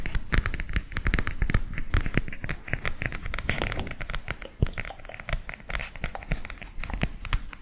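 A flat illustrated cardboard picture book is held in both hands and tapped and scratched with fingers. The result is a dense run of soft, quick taps and dry scratchy crinkles with a low thud underneath and brief bright clicks on top.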